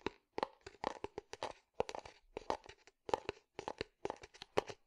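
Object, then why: Small unglazed terracotta clay pot. A small, hollow, empty unglazed terracotta clay flower pot is held sideways and tapped and scratched with fingertips and nails. The result is a quick, uneven series of dry, clicky taps with short bursts of scraping, each dying away almost at once with a faint hollow tone around 860 Hz.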